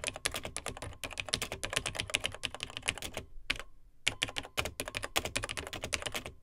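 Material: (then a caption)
Plastic. Fingertips of both hands type on the dark plastic keys of a beige plastic vintage Tandy TRS-80 Model 100 portable computer. The result is a quick, steady stream of short, bright plastic clicks and taps, with a brief pause just before the typing resumes.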